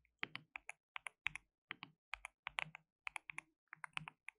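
Fingertips type rapidly on a compact white RGB-backlit mechanical keyboard with plastic keycaps and a hollow case. The result is a quiet run of sharp, bright, clacky keystrokes in irregular bursts and short pauses, each click dry and dying away almost instantly.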